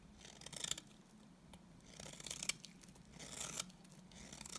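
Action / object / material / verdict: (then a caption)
scrape / bar of soap shaved by a knife blade / soap / none. A utility knife blade scrapes shavings off a solid, dry, cream-colored rectangular bar of soap with stamped lettering. Bursts of bright, dry scraping and crisp crackle come in uneven waves over a faint steady low hum.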